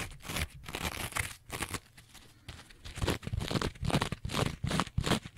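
A rectangular two-layer kitchen sponge, a green abrasive scouring pad on yellow foam, is scratched with long nails and fingertips. Rough, broadband scratching strokes come in uneven bursts with short pauses between them, and each burst has a crinkly, bright edge over a low rustle.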